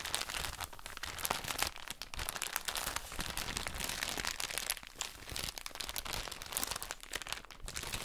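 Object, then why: Soft plastic bag filled with cotton pads. A soft plastic drawstring bag full of cotton wool pads is crinkled and scratched with long nails. The result is a steady stream of bright, crisp crinkling and scratchy rustling, with quick crackles layered over a soft, muffled low rustle.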